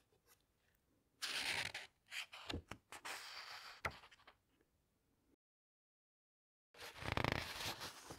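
Hands with long nails flip over the glossy paper pages of a large hardcover book, making bright, papery rustles and swishes in uneven bursts with a few quick ticks. The sound drops to complete silence for over a second, then returns with a louder, fuller swish of a turning page.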